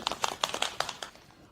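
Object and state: Shaken bottle with a mixing ball inside.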